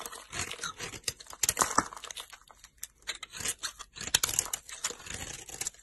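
A utility knife blade chops and carves into a solid pink soap bar with green glitter edges. Bright, crisp crunching and scraping cuts come in uneven bursts, with short cracking snaps and brief quiet gaps between strokes.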